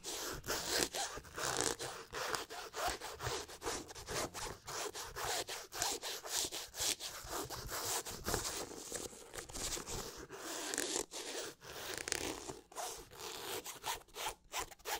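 Fingernails scratch along the leather upper of a hollow, empty black and white high-top basketball sneaker with a rubber sole. The result is a steady run of short, dry, bright scratching strokes with a raspy, zipper-like texture and almost no low end.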